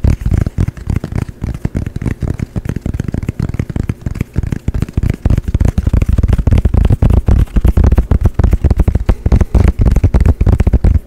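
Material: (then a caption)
Canvas. A small, dark painted canvas panel, a thin flat board held in both hands, is tapped quickly with fingertips and nails. The result is a rapid, irregular stream of short, dull, low thuds with almost no ring, growing denser and louder after about five seconds.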